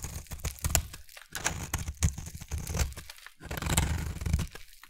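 A utility knife blade scrapes across a solid, partly carved oval pink bar of soap, cutting off crumbly shavings. The scraping comes in rough, crunchy bursts with a low, dull body and a bright, crackly edge, separated by brief quiet gaps.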